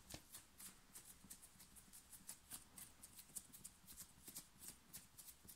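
Long nails scratch fast and hard across the chest and shoulders of a plain black cotton knit t-shirt being worn. Quick, bright, scratchy rasps come in a steady run of short bursts over a faint low rumble.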